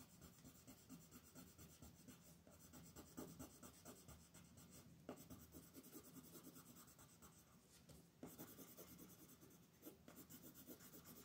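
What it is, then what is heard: Colored pencil on paper. A wooden colored pencil is rubbed back and forth across a flat white paper coloring sheet on a table in steady coloring strokes. It makes a soft, continuous scratching rub with a bright, papery hiss and a slight low body, plus a few sharper strokes standing out along the way.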